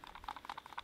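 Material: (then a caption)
Plastic. A light Fiskars builder's knife is shaken in its plastic sheath to test retention, producing a quick series of quiet, dry clacks centred around 800 Hz with a brighter edge. The knife rattles and wobbles loosely inside the sheath but stays in, coming out only if the sheath is shaken hard upside down.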